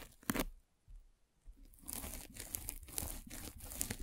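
A metal-spiked derma roller is rolled vertically over the top of a white polyethylene foam mesh net covering a microphone. A sharp crackle is followed by a quiet lull, then a steady, bright crinkling and tearing rasp with rhythmic strokes and a low rumble underneath.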